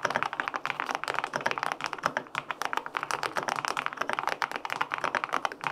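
Fingertips type steadily on the plastic keycaps of a white-pink, full-aluminum 65% mechanical keyboard with linear switches. The result is a rapid run of short, crisp clicks and thocks centered in the midrange with little low end. Each keystroke dies away almost instantly.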